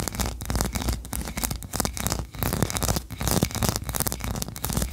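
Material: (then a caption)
Wax. Long nails scratch quickly over the ridges of a solid white ribbed wax tree-shaped candle. The result is a dense run of rapid, rasping scratches with a bright, hissy texture over a steady low rumble.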